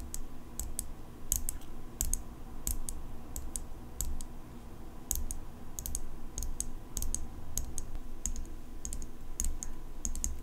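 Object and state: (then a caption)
Steel folding pocket knife. Long nails tap the blade and engraved handle of an open steel folding pocket knife, turning it as they go. Quick, bright metallic clicks come in irregular bursts over a steady low hum. Each tap stops almost at once with barely any ring.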